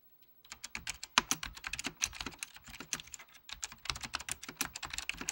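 Fingertips of both hands type steadily on a full-size beige plastic Apple Extended Keyboard II with mechanical key switches. The presses make a rapid run of short, dry, bright clicks with almost no low end and no ring. After a brief quiet start, the typing runs continuously, pausing for a moment near the middle.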